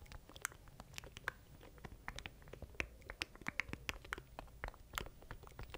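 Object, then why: Plastic button controller. A small black plastic stream deck with button keys is held in both hands beside a mic while fingertips tap and scratch its surface. The result is a rapid, irregular series of short, dry clicks and scrapes with bright transients over a faint low rumble. The taps die away almost instantly.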